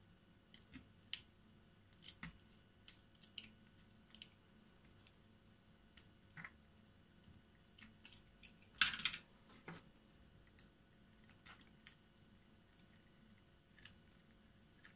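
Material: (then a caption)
Soap. A hand-held, solid green and white bar of soap is carved with a small metal blade, peeling off thin pieces. Quiet, bright, crisp scraping clicks come in short, irregular bursts over a faint steady hum, with a louder, rougher shaving cut near the middle. Each cut dies away almost at once.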